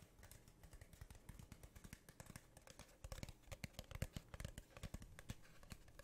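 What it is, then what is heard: Cardboard tube tapped with fingernails. Long painted nails tap rapidly on the surface of a hollow brown cardboard tube held upright near the microphone. The result is a quiet, uneven stream of short, hollow, low thuds with light dry clicks on top. Each tap dies away almost instantly, and the tapping grows louder and busier in the second half.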